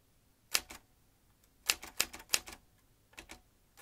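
Fingertips tap the keys of a vintage metal manual typewriter in short, scattered bursts of sharp, bright clacks, each followed by a softer secondary click. The keystrokes are crisp and dry, with almost no low end and very little ring after each strike, separated by quiet pauses.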